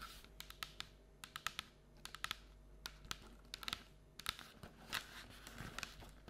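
Long nails tap quickly on the printed wall of a hollow paperboard Halloween treat bucket standing on a table. The result is an uneven run of dry, bright, clicky taps that stop dead with no ring, over a faint scratchy hiss between strokes.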